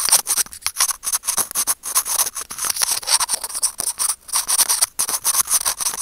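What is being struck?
Small plastic earphone mic remote.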